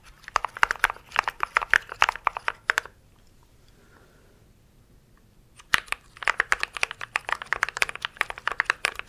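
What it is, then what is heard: Mechanical keyboard with plastic keycaps. A compact mechanical keyboard with grey and white plastic keycaps in a grey case is held up close while fingertips and nails rapidly type and tap on the keys. Quick, sharp, bright plastic clacks patter for about three seconds, then stop for nearly three seconds of near silence before the rapid tapping resumes and runs to the end.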